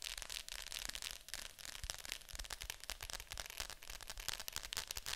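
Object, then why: Plastic VHS clamshell case. Long nails tap rapidly on the glossy lid of a hollow plastic Fantasia VHS clamshell case lying flat. The taps are crisp, bright clicks with almost no ring, followed by a quiet hollow knock underneath.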